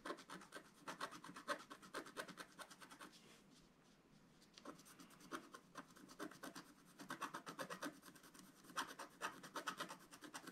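A wooden stylus scratches a flat black-coated scratch-art card around an owl's eye area, making rapid, dry, raspy strokes. The bright scratching comes in dense bursts, eases to a quiet lull midway, then picks up again in quick clusters.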